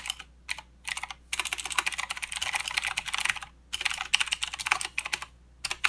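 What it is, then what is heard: Plastic mechanical keyboard with clicky switches. Both hands type with their fingertips on a full-size mechanical keyboard with plastic keycaps and blue clicky switches. Bursts of rapid, bright, sharp clicks are separated by brief pauses, with almost no low end. Each keystroke ends crisply with virtually no ring.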